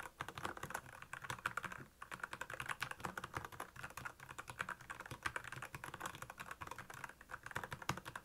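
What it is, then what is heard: Plastic mechanical keyboard being typed on. Fast typing with both hands' fingertips on a black plastic Royal Kludge mechanical keyboard with backlit keys. A dense, steady run of short, crisp clacks with a bright edge and a low thud under each keystroke, broken by a brief pause near the two-second mark.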